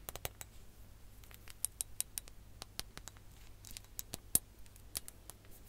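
A ribbed glass hourglass with orange sand is tapped with long nails while being tilted and turned. The result is a quick run of sharp, bright clicks that die away almost at once, over a low steady hum. Some taps land noticeably harder than others.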